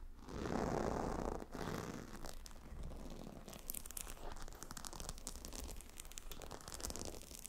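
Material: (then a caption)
Stone. Fingernails scratch rapidly across the hexagonal glossy stone tiles of a gemstone hot stone pillow set on leather. A dense, fast, irregular crackling scrape runs throughout, with bright clicky flecks over a low rumbling base and a fuller, louder swell in the first second and a half.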